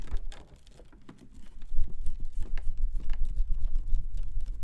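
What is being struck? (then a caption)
Folding fan with plastic ribs and a fabric or paper leaf. A hand-sized folding fan with white plastic ribs and a printed fabric or paper leaf is held open in both hands close to the mic while fingertips click and flick the ribs as it opens and closes. The result is a fast, irregular patter of short, dry clicks with a low, soft body, quieter at first and then steadily busier and louder.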